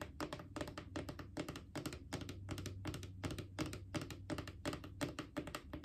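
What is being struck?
Hollow plastic wipes canister.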